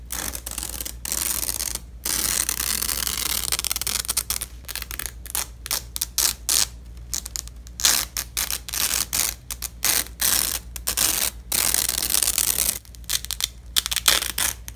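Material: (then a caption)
Nylon. Black-gloved fingers grip a purple nylon hook-and-loop strip fastened on red fabric and rip the halves apart again and again. Each pull is a harsh, bright crackling tear, separated by short pauses, over a faint steady low hum.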